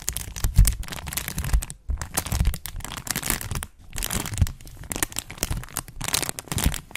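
A thin, flexible, translucent brown plastic sheet, held in both hands with purple-painted nails, is crinkled, bent and scratched in front of a microphone. Dense, irregular crackling and crinkling sounds come in bursts, with a deep low thump under the bright crackle. Brief near-silent pauses fall around 1.8 and 3.8 seconds.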